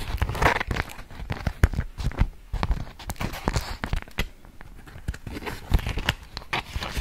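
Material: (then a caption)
Waxed cotton. A polka-dot beeswax-coated cotton food wrap sheet is held and folded with both hands in front of a microphone, crinkling the stiff, waxy fabric. Dense, irregular crackles and short sharp snaps come in quick bursts over soft, low, thumpy handling noise.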